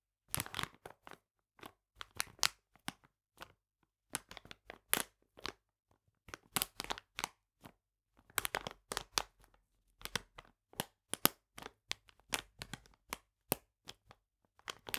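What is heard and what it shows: Painted nails scratch and tap the surface of a full plastic bag of polenta lying flat on a table. Crisp, bright crinkles and dry clicks come in quick irregular bursts with short pauses between, each sound stopping almost instantly with no ring.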